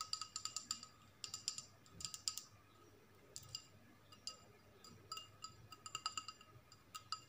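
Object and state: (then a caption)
Glass bowl tapped with nails. A small, hollow, empty clear glass bowl with a label is held up in both hands and tapped and scratched with long acrylic nails. It gives quick clusters of bright, glassy clicks with a faint high ring, separated by short quiet gaps. Each tap dies away almost at once.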